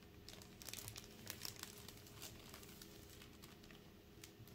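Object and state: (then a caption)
Shrink-wrapped plastic game case. Black-gloved fingers hold and turn an Elden Ring Launch Edition PS5 game case, a small hollow plastic box still sealed in thin clear plastic film, rubbing and squeezing the film. The result is quiet, bright crinkling and crackling with sharp, short-lived snaps over a steady low background hum.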